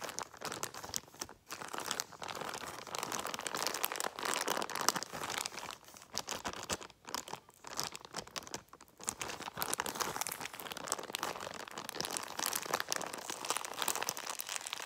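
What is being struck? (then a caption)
Clear plastic bag of latex balloons. Both hands crumple and crinkle a clear plastic bag of latex balloons with a paper header label, working it with fingers and nails. The result is a steady, dense, bright crackling with almost no low end, broken by a few short pauses over about fifteen seconds.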